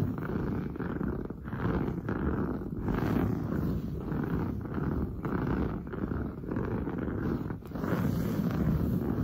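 Long blue nails scratch fast and hard across padded, grey-brown textured woven sofa upholstery. The result is a continuous, dense, low rasping that swells and dips with each stroke, with almost nothing bright above the mid range. It sounds much like a purr.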